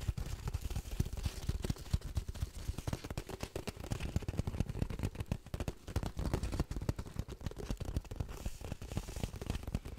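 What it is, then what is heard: Cardboard tube. A long, hollow, patterned cardboard tube held in both hands over a microphone is tapped and scratched quickly with fingernails. A dense, continuous stream of soft, hollow, low thumps comes with faint scratchy crackle. Each tap dies away almost instantly.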